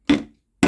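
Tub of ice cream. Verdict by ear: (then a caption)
Frozen hard. Ice cream with dry ice placed on it is knocked twice to show it has frozen hard. Each knock is a short, solid tap with a mid-pitched body that dies away quickly. The second knock is cut off at the end.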